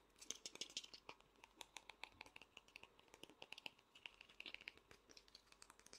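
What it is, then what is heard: Vinyl toy figure. Fingernails tap rapidly on the back and front of the large head of a small, hollow vinyl Funko Pop figure. The result is a quick, uneven run of quiet, sharp, bright clicks with almost no low end, each dying away almost instantly.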